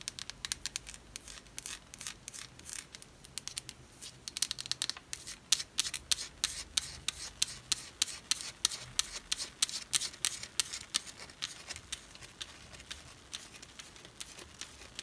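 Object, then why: Bar of soap. A wet, palm-sized bar of yellow and white striped solid soap, held over a glass bowl of water, is rubbed and scratched by fingertips with long white nails. The sound is a dense run of quick, dry, bright clicks and scratchy rasps, mostly high-pitched with almost no low end, each dying away almost instantly.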